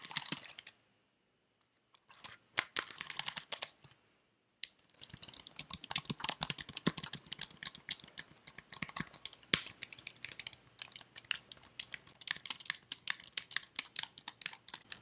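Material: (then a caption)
Plastic. Fingers with red nails type on and scratch the keys of a white slim plastic computer keyboard held close up, making bright, crisp clicks and scratchy rustles. After a few short bursts separated by silences, the taps run into a dense, uneven patter of quick clicks that carries on to the end.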